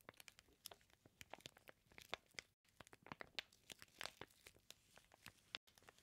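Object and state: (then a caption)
Plastic-wrapped bacon package. Fingertips rub and press the crinkly clear plastic sealing a flat package of raw bacon slices. The result is a quiet, steady stream of sharp, bright crackles and crinkles with almost no low end, broken by two brief moments of silence.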